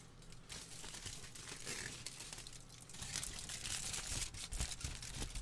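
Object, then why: Thin aluminium kitchen foil. Thin aluminium kitchen foil, partly balled up and held in the hands, is squeezed and crinkled with the fingertips. Dense, bright crackling and crinkling run throughout over a low handling rumble. The sound grows louder and sharper toward the end.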